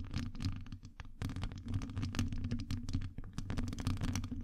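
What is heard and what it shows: Long acrylic nails scratch and tap both sides of the hollow, round metal wire-mesh grille on a Blue Yeti-style microphone. The result is a dense, continuous run of quick scratches and taps, dominated by a low, boomy rumble near 94 Hz, with short, bright crackling ticks on top.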